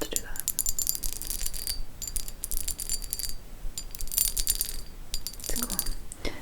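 A blue hand-blown glass piece, identifiable as hand blown by its bubbles and pontil mark, is tapped and clinked repeatedly. The strikes give bright, short chime-like rings with a high glassy pitch.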